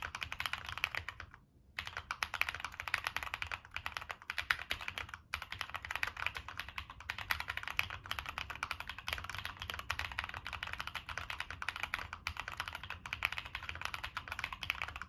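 Fingertips type steadily on a Monsgeek M1 mechanical keyboard with a dark metal case and purple and black plastic keycaps, giving a dense run of short, crisp clacks with bright upper tones and a faint low thump. There is a brief pause near the start and another short break around five seconds before the rapid typing resumes.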